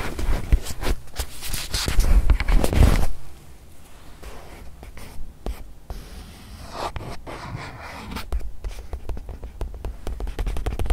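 A small white padded faux-leather watch pillow, soft, stuffed and not hollow, is held upright in front of the mic and tapped and scratched with long white nails and fingertips. Dense, scratchy rubbing and dull muffled taps fill the first three seconds, then drop to quieter, scattered soft taps and light scratches that build back up toward the end.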